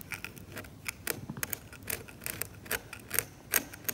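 A metal scalpel blade scrapes away paint from the grey ground of a glossy, cracked, varnished oil painting on canvas. The result is a quick, irregular series of short, dry, bright scratches with very little ring, set against a faint low hiss.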